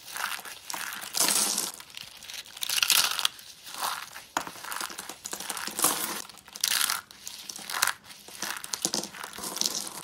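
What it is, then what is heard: Dry soap curls crushed. Tan, hollow rolled curls of dry shaved soap on a white surface are crushed and crumbled between fingertips into flakes. The result is bright, dry crackling and crunching that comes in repeated bursts with quiet gaps between them, with almost no low end.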